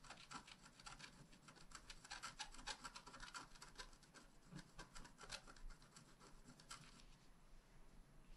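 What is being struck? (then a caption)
Wax-coated scratch-art card scratched with a wooden stylus. A wooden stylus tip scratches a flat, black wax-coated scratch-art card, a solid thin page about A5 size lying on a table. Quick, dense strokes make a dry, bright rasping scratch with crisp high edges. The strokes continue steadily and thin out to lighter scraping near the end.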